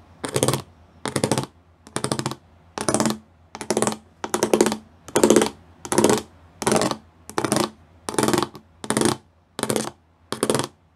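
Fingertips and nails tap quickly across a flat grey plastic sheet covered in rows of small square pyramid studs. The taps come in about fourteen short, bright bursts of rapid clicking, separated by brief pauses of near silence.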